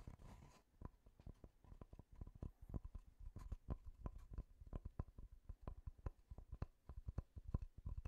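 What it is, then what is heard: Wooden tree-slice disc. Fingertips tap rapidly on a solid wooden tree-slice disc with growth rings, producing a quick, uneven string of short, dry knocks like clip-clopping hooves. Each hit is quiet, low and thuddy and dies away almost at once, with no ringing.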